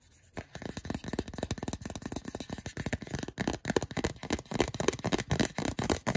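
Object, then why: Soft silicone phone case. Fingertips rub and scratch the textured back of a small, hollow, empty, grey translucent soft silicone/rubber phone case held in the hand. After a brief quiet start, a quick, uneven stream of dry scratching and rubbing strokes follows, each with a soft muffled body and a light brushy top that dies away instantly with no ring.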